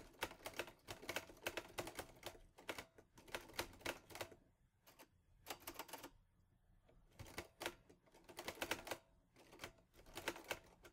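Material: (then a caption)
Metal. Fingertips type on the keys of a teal metal Olivetti Lettera 22 portable typewriter. Bursts of sharp, bright metallic clacks are separated by brief quiet pauses, and each strike dies away quickly.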